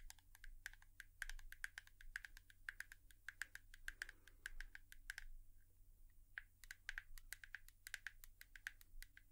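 A hairbrush is tapped with long nails in a quick, uneven flurry of sharp, clicky taps that sound much like typing. The taps are short and dry, centered around 1.6 kHz with bright tops, with a brief lull around the six-second mark. A low steady hum runs underneath throughout.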